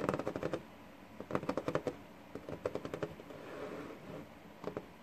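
Fingertips of both hands tap and drum on a flat, solid wooden desktop with a worn surface, making rapid, dry, woody knocks in quick bursts with short pauses between. Each tap is dull and short with almost no ring. At the end a few last taps come from one hand still resting on the same desk.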